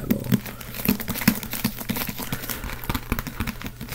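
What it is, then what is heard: Leather-bound book. Fingertips tap the cover of a closed, black leather-covered Holy Bible held in both hands. The result is a quick, uneven patter of soft, muffled, low thuds that die away almost instantly, over a faint steady low hum.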